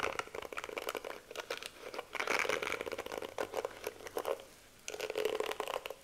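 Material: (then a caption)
Plastic. Long nails rake and scratch across the pink bristles of a plastic detangling hairbrush held close to the mic. The result is dense, crinkly clicking and scratching in a rapid stream of bright, dry ticks. It comes in bursts with a brief quiet gap before the final flurry.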